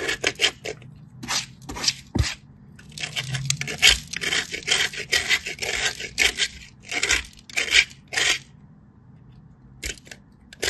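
A small, solid white soap cube, held by fingertips with long blue nails, is rubbed down a small stainless steel grater in a series of quick strokes. Each stroke makes a bright, dry, crunchy grating scrape, mostly above 2 kHz, separated by short quiet gaps. A pile of soap powder collects below the grater.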